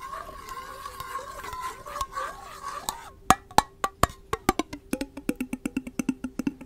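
A small, clear, empty glass mason jar with a metal screw lid is held in the hands close to the microphone and scratched and tapped with long nails and fingertips. First comes a few seconds of soft, continuous scratching with a faint ringing tone. Then a series of sharp, distinct clicking taps follows, growing quicker and lighter toward the end.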